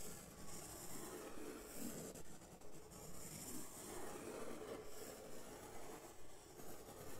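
A hand rubs a large, flat brown corrugated cardboard sheet and scribbles on it with a white marker. The result is a continuous, rhythmic rasping scratch with a low, rumbling body and a faint bright hiss, holding at a steady, soft level throughout.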